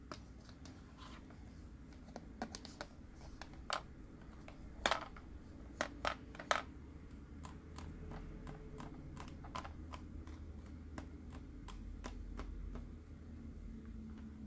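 A green, hollow plastic Mike Wazowski sipper cup is held tilted and tapped with fingertips and nails. The taps are short, sharp plastic clicks with a hollow tone, some louder and brighter than others, over a quiet low rumble. Each tap dies away almost instantly.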